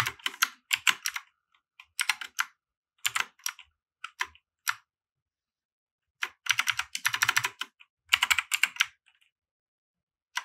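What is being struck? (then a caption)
Plastic mechanical keyboard. Fingertips of both hands type on a compact RGB mechanical keyboard with white plastic keycaps resting on a felt mat. Quick bursts of bright, dry, clicky keystrokes are separated by short pauses, and each click stops almost instantly with no ring.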